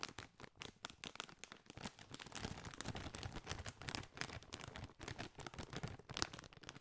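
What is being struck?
Foil-lined plastic chip bag.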